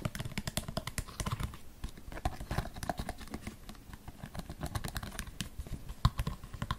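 Long painted fingernails rapidly tap a small, hollow, empty white plastic storage basket with vertical slots, held upside down in one hand. The result is a quick, steady run of short, dry, hollow clicks with a low body and almost no ring, the odd tap landing harder than the rest.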